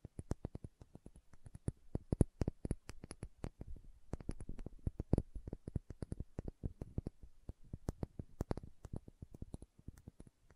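Long nails tap rapidly on the body of a small dark green glass serum bottle with a dropper cap. The result is quiet, crisp clicks in quick, uneven bursts with brief pauses, each tap dry and short with almost no ring.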